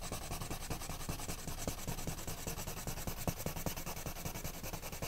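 A hand with painted nails rubs and scratches a wooden colored pencil in short strokes across a flat paper page of an adult coloring book lying on a woven mat. The result is a steady, soft, scratchy rasping with a bright hiss, broken by quick, loosely rhythmic stroke accents and dull low thumps. Each stroke dies away almost at once.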